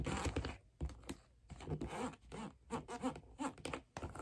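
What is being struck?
Wooden figure skate sole.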